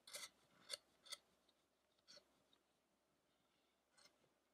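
A gouge or chisel pares across the face and beard of a solid carved wooden head of the ascetic Shakyamuni on a halo base, lifting off chips. Five short, bright scraping cuts sound close and quiet, each dying away almost instantly, with faint rustles between them.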